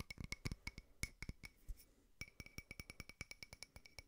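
A small frosted glass votive holder with a white candle inside is tapped quickly with fingertips and nails on its side and rim. About 26 short, bright, clicky taps are heard, each with a faint glassy ring around 2 kHz and a dull low knock. They come in an irregular burst, pause briefly, then settle into a steady fast rhythm.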